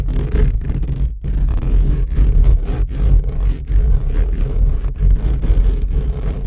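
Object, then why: Steel-mesh microphone grille. Short fingernails of both hands scratch fast and aggressively across the hollow steel-mesh grille of an upright microphone. The result is a dense, continuous, boomy rumble concentrated in the deep lows, with brief dips between bursts of scraping.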